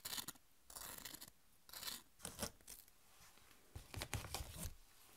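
Long nails scratch and rub the surfaces of thin, dry, triangular corn tortilla chips held in the hands. Short bursts of dry, crinkly scratching with a bright, hissy top come in uneven clusters, separated by quiet pauses, and the last cluster is the densest.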